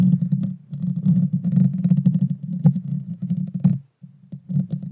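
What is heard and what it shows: Long dark fingernails scratch and tap the hollow metal mesh grille of a Blue Yeti Nano microphone. The result is a dense, boomy low rumble centered around 140 Hz, with quick scraping bursts and sharper taps. It drops to near silence just before the fourth second, then the scratching resumes.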